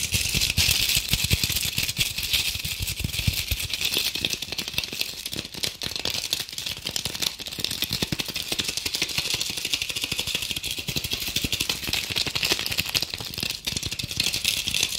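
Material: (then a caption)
Glitter. Long acrylic nails scratch fast and aggressively over a red, sparkly, glitter-covered decorative apple ornament held in both hands. The result is a dense, steady, crackling rasp with most of its energy high and bright, and dull low taps underneath that fade almost instantly. It runs continuously for the whole clip with no pauses.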